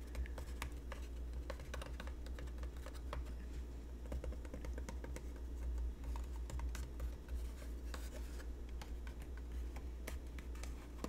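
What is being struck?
Cardboard box.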